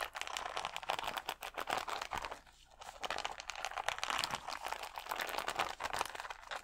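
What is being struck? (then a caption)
Acrylic rhinestones on a plastic sheet. Fingernails scratch along the gem rows of a clear plastic sticker sheet of acrylic rhinestones held against the chest. The result is a dense, crinkly, crackling scratching with bright, dry ticks centered in the midrange. It pauses briefly midway before resuming steadily.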